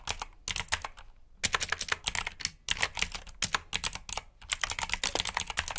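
Fingertips type on the keycaps of a black backlit plastic mechanical keyboard with blue switches. Bursts of sharp, bright clicks come in quick, uneven runs separated by brief pauses, each click dying away almost instantly.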